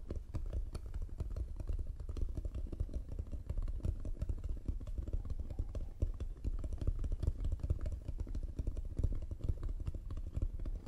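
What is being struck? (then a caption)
Painted wooden box. Long nails tap rapidly on the painted front and sides of a closed, hollow, striped hexagonal wooden box near its latch while both hands hold its sides. The result is a dense, steady stream of dull, hollow, low-pitched knocks with a soft clatter. Each tap is dry and stops at once, with no ring.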